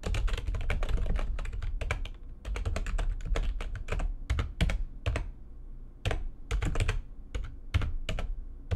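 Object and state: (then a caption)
Plastic computer keyboard, fast typing. Fingertips with long nails type fast on the keys of a full-size, low-profile, backlit plastic computer keyboard resting on a desk. The result is a dense run of sharp, bright clicks over a soft low thump, each dying away almost at once. The flurry thins briefly near the two-second mark and pauses around five to six seconds before picking up again.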